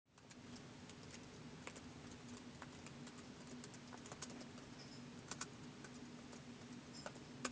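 Fingertips slowly tap the plastic keys of a white polycarbonate MacBook keyboard resting on carpet. Soft, short, bright clicks come one at a time at an unhurried pace, a few sharper than the rest, over a quiet, steady low hum.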